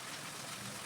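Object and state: Nothing is struck.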